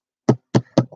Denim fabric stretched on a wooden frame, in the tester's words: A nice taut canvas should sound kind of like a drum when you smack on it.